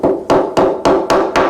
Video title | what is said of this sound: Surface Laminate Repair | working across, sounds quite dull